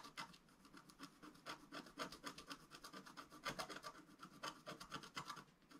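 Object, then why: Black-coated scratch-art paper scratched with a wooden stylus. A wooden stylus scratches lines near the lower right edge of a flat sheet of black-coated scratch-art paper lying on a table. Quick, uneven strokes, about four per second, make dry, bright rasping scrapes that stop sharply after each pass.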